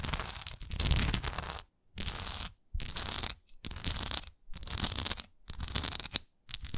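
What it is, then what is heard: Wax pillar candle scratched with nails. Long nails scratch the raised swirl texture of a solid wax pillar candle in a series of scratching bursts separated by short silences. Each stroke is a dry, bright rasp over a low, soft rumble.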